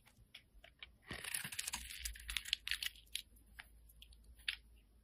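A sharp metal blade shaves and scrapes the face of a solid, round, mint-green embossed soap bar held in the hand, with the shavings falling onto the table. Repeated strokes make crisp, bright scraping and crackling clicks, densest in a steady burst through the middle, then thinning to short scattered scrapes over quiet background.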